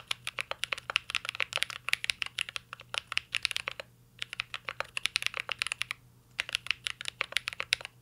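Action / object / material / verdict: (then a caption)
tap / mechanical keyboard with plastic keycaps and metal case / plastic / none. Fingertips type steadily on a mint-green Cyberboard R3 mechanical keyboard with a metal case and plastic keycaps. Dozens of sharp, bright, clicky taps come in quick bursts, with short pauses near 4 and 6 seconds. Each tap dies almost instantly, with little low end.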